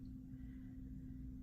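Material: Nothing is struck.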